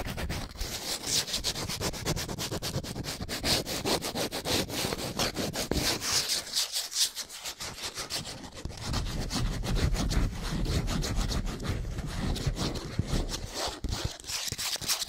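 Long nails scratch and rub quickly across a small printed cardboard soap box, making a continuous run of rapid, dry, raspy strokes. Bright papery hiss sits over a soft low rumble, easing off briefly around the middle before picking back up to a steady scraping texture.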